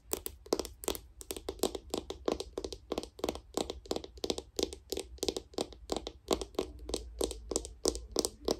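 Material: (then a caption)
Plastic. Long pink nails tap and scratch the black plastic lid and sides of a small round cosmetic jar with a white label, held in one hand. The result is a rapid, uneven stream of sharp, bright clicks that die away almost instantly, mixed with light scratching over a faint low hum.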